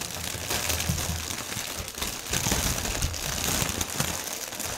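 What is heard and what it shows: Hands squeeze a section of clear plastic air-cushion packaging film, an air-pillow strip, then flatten it and rub it on a table with their fingertips. The result is a steady, dense, bright crinkling and crackling with soft low thuds underneath, swelling louder in the second half.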